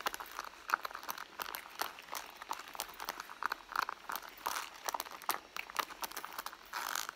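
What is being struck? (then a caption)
Pebbled leather handbag. Long blue nails scratch the front panel of a hollow red pebbled-leather handbag lying on a mat. The result is a dense run of quick, dry scratching and crinkly rasps, centered in the mid-range with some bright hiss and no low end.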